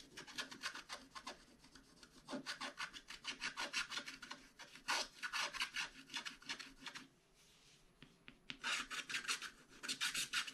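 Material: Coated paper.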